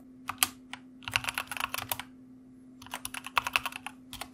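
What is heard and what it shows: Rapid typing with the fingertips of both hands on a white plastic mechanical computer keyboard produces a flurry of sharp, bright clicks. The bursts come in two runs separated by a brief pause, each keystroke dying away almost instantly over a faint steady hum.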